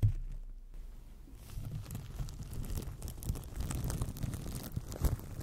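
Fingertips scratch and crinkle clear plastic cling film wrapped loosely over a solid microphone body. The result is a dense, muffled, boomy rustle weighted heavily toward the low end, with scattered faint bright crackles. A brief quiet stretch follows the opening thump before the crinkling builds and continues.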